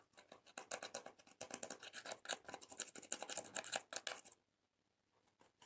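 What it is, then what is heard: Pressed powder eyeshadow being scraped. A blue-handled, metal-tipped tool scratches and scrapes pressed colored powder out of the pans of a small clear plastic eyeshadow palette, held by long-nailed fingers over a slime tray. Rapid, dry, bright scratching comes in dense, crisp bursts for about four seconds, then stops, leaving near silence with a few faint scrapes at the end.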